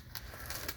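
A hand reaches under a 2021 Ram Power Wagon with the 392 (6.4 L) Hemi and taps the engine valve cover to check that it is plastic. Three short, dull taps sound over a low background hum, each with a bright click and almost no ring.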